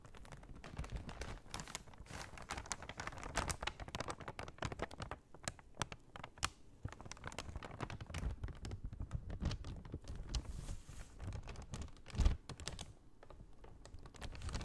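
A large, empty brown kraft paper shopping bag is handled and repositioned while long nails tap on it. The result is a quiet, steady stream of soft crinkles and quick dry taps with a muffled low body. A louder thump stands out near the end.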